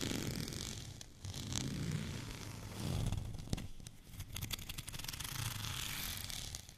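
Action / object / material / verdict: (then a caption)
scrape / plastic rolling pin with bumpy surface / plastic / none. Fingernails scratch along the surface of a white, bumpy plastic rolling pin, making a dry, rasping scrape with a low rumbling body and bright crackle. The scratching comes in long, uneven strokes, with a burst of quick ticking clicks over the bumps midway through before it settles back into steady rubbing.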